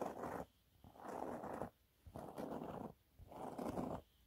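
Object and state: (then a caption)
Textured cleaning cloth scratched with a nail. Fingernails scratch across a yellow waffle-textured cleaning cloth held in both hands. Four rasping, purr-like passes centered in the mid range are separated by brief pauses, and a fifth pass begins at the very end.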